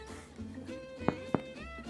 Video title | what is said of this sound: Mrs Calabash Cooks' Bread Baking Day | if you knock it with your knuckle like that and you get a hollow sound that means the bread is cooked